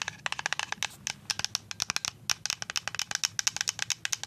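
A full white plastic liquid soap pump bottle is tapped with paper-clip-covered nails in a fast, uneven run of about 30 sharp clicks. Each tap is a bright, high, clacky tick with almost no low end and an instant decay, some landing in quick flurries.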